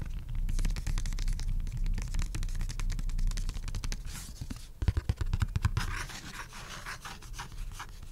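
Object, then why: Printed cardboard coaster. A thin, flat, solid, dark printed cardboard (pulpboard) coaster is held in one hand and scratched and rubbed with the fingertips and short nails of the other. Quick, uneven scratches run together in a dense, low-heavy patter, with a few sharper, louder strokes near the five-second mark before the sound eases into softer, brighter rubbing.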